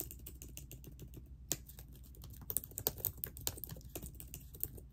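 Long nails and fingertips type on a laptop keyboard with plastic keys in a silver laptop body, worn by ringed fingers. Steady, quick key taps with short, dry clicks over a low background hum. A few sharper, brighter taps stand out along the way.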